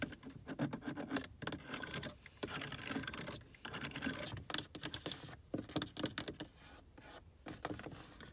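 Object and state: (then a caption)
Plastic car air vent. Long acrylic nails scratch and tap a car's dashboard air vent next to the steering column, a small hollow dark plastic housing with thin plastic louvers. The result is a dense run of quick, dry, bright clicks and scratchy rubbing with almost no ring, broken by brief pauses.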